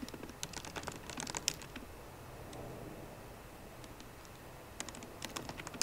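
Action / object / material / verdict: tap / laptop keyboard with plastic keys in a metal body / plastic / none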